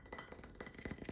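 A plank of wood with artwork painted on one side is tapped seven times in quick succession. The taps are quiet, dull and woody, with a low-mid knock around 200 Hz and almost no ring after each hit.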